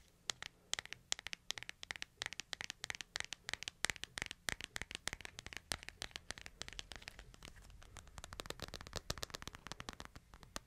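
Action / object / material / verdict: tap / smartphone with glass screen and hard frame / glass / none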